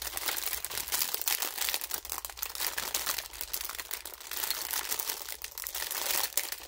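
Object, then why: Thin clear plastic bag. A thin clear plastic film bag holding pink and teal toy makeup pieces is held in both hands over a pink plastic case while the fingers squeeze and crinkle it. A continuous, bright crinkling and crackling rises and falls in dense, rapid bursts, with almost no low end.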